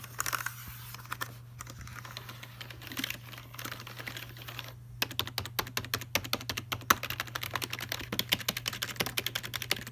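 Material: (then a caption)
Plastic. Fingertips tap and type on the plastic keys of a full-size black plastic Logitech keyboard resting in its open cardboard box. Soft, irregular tapping gives way after a brief pause to a faster run of crisp, bright key clicks that stop short, over a faint steady low hum.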